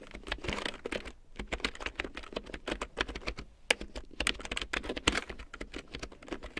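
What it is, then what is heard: Plastic large-print keyboard being typed on. A full-size large print keyboard with a black plastic frame and big yellow plastic keycaps, lying on faux fur, is typed on with long painted nails and fingertips. The result is a rapid, uneven stream of short, dry, bright plastic clicks and taps that stop almost instantly, with a few sharper, louder keystrokes standing out.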